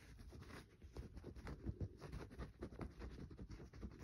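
Fingernails scratch the surface of a solid green bar of soap held over a paper towel, leaving visible shavings. The sound is a quiet, dull run of short scraping bursts, mostly low with little brightness and no ring after each stroke.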